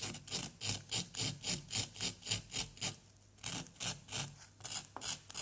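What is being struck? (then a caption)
Small plaster block scraped with a wooden stick. A wooden stick scrapes repeatedly across a small, solid orange plaster block, and plaster dust piles up. Each quick stroke makes a dry, bright, hissing rasp, at a steady rhythm of about three or four strokes per second. There is a brief pause around the three-second mark before the scraping resumes.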